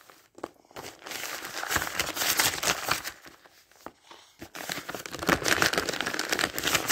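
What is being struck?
Thin paper pages of a thick dictionary.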